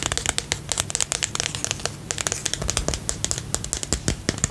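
Fingertips and nails tap and scratch the sides and lid of a small, round, pink and purple plastic tub with a lid, filled with slime and held close to the mic. The result is a dense run of quick, crisp, bright clicks and crinkly scratches over a faint low hum, with each tap dying away almost instantly.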